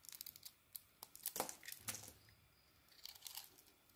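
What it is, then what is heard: Bar of soap being carved. A small metal blade carves and scrapes a palm-sized solid soap bar, red-striped with a lilac core, held in the hand, as shavings fall off. It makes quiet, crisp, bright scraping and crumbly crackles in quick bursts, with louder, longer scrapes near the middle. Each cut stops short with almost no ring.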